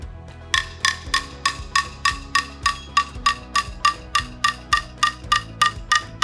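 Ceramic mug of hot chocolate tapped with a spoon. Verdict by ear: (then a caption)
Bubbles clearing. After stirring, a spoon taps steadily on the side of a ceramic mug of hot chocolate, giving 20 short, bright, woody clinks at about 200 per minute. The pitch of the taps rises steadily as the bubbles settle and clear, showing the hot chocolate effect.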